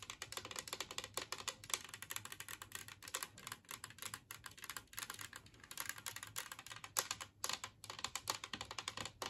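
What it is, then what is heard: Ceramic plate tapped with fingernails. Long nails of both hands tap rapidly on a large glazed ceramic Christmas tree-shaped serving plate lying empty on a table. The result is a dense, continuous patter of short, bright clicks with very little ring and almost no low end, centered around 1.1 kHz.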